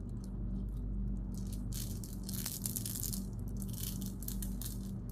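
A handful of Skittles, small hard sugar-shelled candies, is heaped in an open palm and cupped hands, then shaken and rolled together. Bright, dry rattling and clicking come in bursts over a steady low hum with a faint tone near 117 Hz. The level stays fairly even for the whole clip.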